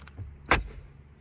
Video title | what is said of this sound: 2021 Mercedes-AMG G 63: Yes the G-Wagen is here! | these cool original style vault closing doors